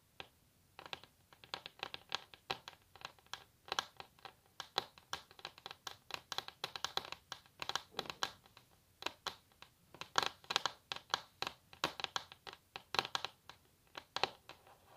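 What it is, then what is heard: Varnished wooden table tapped and scratched with nails. Long natural nails scratch and tap across a solid varnished wooden tabletop, making a quick, uneven run of quiet, dry clicks and scrapes. Each sound is short and bright, with almost no low end, and dies away instantly.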